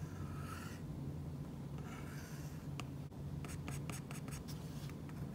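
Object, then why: Stylus tip on tablet glass with matte plastic film. An Apple Pencil's plastic tip drags and taps across a tablet-sized flat glass iPad screen covered with a matte, paper-like plastic screen protector, with fingertips also touching the surface. Two longer, soft scratchy drawing strokes are followed by a quick series of short, bright tip taps and flicks, all over a steady low hum.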